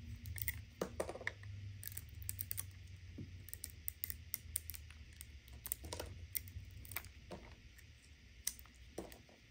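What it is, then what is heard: Bar soap being cut. A palm-sized, cream-colored solid bar of soap is held in the hand while a serrated metal knife slices and scrapes along its edges, sending shavings falling. Quick, crisp clicking scrapes with bright, brief ticks come in irregular bursts over a steady low hum.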